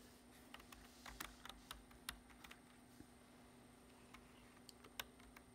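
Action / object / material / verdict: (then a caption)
tap / plastic computer keyboard / plastic / none. Fingertips type on the keys of a black plastic computer keyboard in close-up, producing short, sharp, bright clicks at an uneven pace. The taps are quiet and fade almost instantly, with a faint steady low hum underneath.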